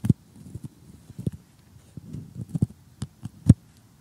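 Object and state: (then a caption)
Cardboard jigsaw puzzle. Metal tweezers poke and pick at assembled cardboard jigsaw puzzle pieces, with nails nearby. Several short, dull, low taps land irregularly, the last one the loudest, with soft crunchy scratching between them. Each tap stops almost instantly, leaving brief quiet gaps.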